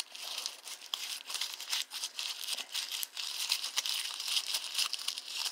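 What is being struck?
Small balled-up paper receipt.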